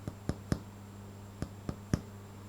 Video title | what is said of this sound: Bread rolls | So hopefully you can hear that nice hollow sound, which means that a bread is cooked.